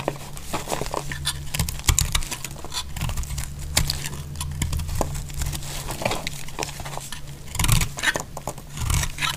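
A utility-knife blade shaves and slices the sides of a solid dry purple bar of soap. The result is a steady run of dry, crisp scraping and crumbly patter, with short bright flicks over a low hum. The shaving swells louder near the end.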